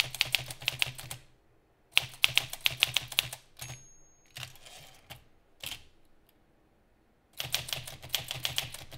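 Fingertips of both hands type rapidly on a green metal Olivetti Lettera 32 manual typewriter, giving dense bursts of sharp, bright key and typebar clacks with a faint low thump beneath. Between the bursts come quieter scrapes and clicks as the paper advances in the carriage, then the fast typing resumes.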